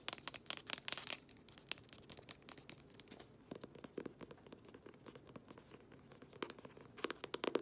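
Long manicured nails tap and scratch the front cover of a closed, solid green cloth-bound hardcover book with a gold-stamped emblem, held upright in both hands. Quick, dry taps mix with scratchy, crinkly rustling that is quiet, bright and thin in the low end. Each tap dies away at once with no ring.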